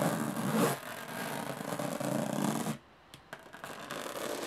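Long nails scratch and tap the textured lid of a closed, hollow aluminum carry case. A dense, rasping scratch fills the first 2.7 seconds, then drops to near silence broken by a few sharp metallic taps before the scratching resumes more softly.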